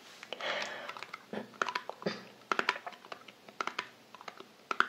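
Long nails tap on the printed lid of a small, round, closed Balea cream tin, then move to its light-blue metal side rim. The result is a run of sharp, bright metallic clicks, each with a brief tinny ping around 1.4 kHz, scattered irregularly with soft rustling between them.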